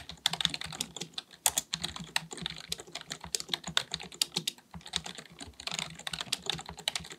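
Fingertips of both hands type rapidly on a black full-size plastic computer keyboard resting on a desk. The result is a dense, steady stream of bright, crisp key taps, each click dying away almost instantly, with little low-end weight.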